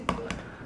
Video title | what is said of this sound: PERBANDINGAN YANG DAHSYAT BUAT MAINAN YG GOKIL | kalau diketok itu enggak kopong ya